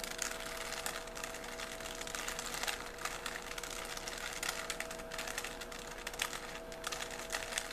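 A small, solid 3x3 plastic puzzle cube with colored stickers is held in both hands while fingertips turn its layers. The result is a continuous run of quick, bright plastic clicks and sliding rasps, with faint steady tones humming underneath.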